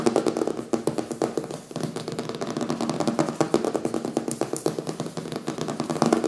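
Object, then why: Hardcover book with paper cover. Fingernails scratch and fingertips tap the front cover of a closed, thick "Zombies" hardcover book with a printed paper cover, resting on a wooden table. Rapid, dry taps and crackly scratches run steadily throughout, with a low-mid body and very short decay. The book sounds solid.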